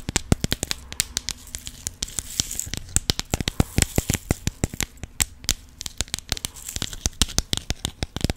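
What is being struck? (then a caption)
Plastic compartment box with rhinestones. Long pink nails tap rapidly on the lid of a clear plastic compartment box with rhinestones inside, and the box is shaken. The result is a dense run of sharp, dry, bright clicks with a faint low thump beneath, each one dying away almost at once.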